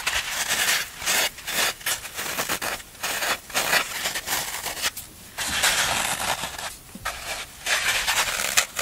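Fingernails scratch and press along the smooth side of a solid green floral foam brick held in the hand. A run of dry, bright, crunchy scraping bursts follows, with brief quiet gaps between strokes and almost no low end.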